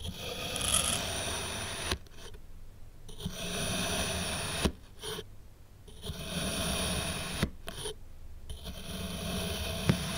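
A black metal knife blade slices through a solid, small cup-shaped block of blue kinetic sand pressed onto a white table. Each cut is a crunchy, gritty scrape with a bright hiss, broken by short pauses and a few sharp ticks as slabs of sand separate.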